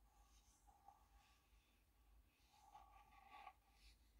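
A small, hollow, rectangular printed wooden tea box (Richmond Hill Earl Grey) is held up with its lid closed and tapped and scratched on its printed face with long painted fingernails. Two soft knocks ring with a hollow tone around 750 Hz, and faint bright scratching rides over a low, steady background hum. The sound is very quiet throughout.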